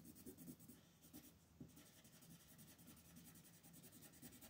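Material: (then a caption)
Paper. A green colored pencil, held in fingers with long pink nails, shades back and forth across a flat printed paper coloring page lying on a table. The result is a quiet, continuous scratchy rubbing with a soft low body and faint bright grain, rising and falling slightly with each stroke.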